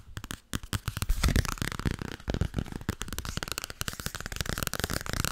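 A solid softcover paperback book with a paper cover, held in both hands, is tapped quickly with long nails. The result is a dense, rapid stream of short, dry taps, mostly dull low thuds with some brighter clicks, each dying away almost at once.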